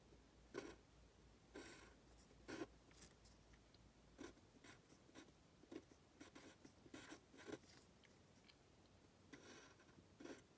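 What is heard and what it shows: A pen tip scratches and writes strokes of Chinese characters on a thin printed paper worksheet lying flat. Quiet, dry, scratchy bursts come in a series of short strokes separated by brief pauses, with bright, hissy texture and little ring.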